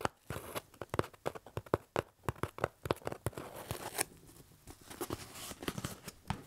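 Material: Cardboard.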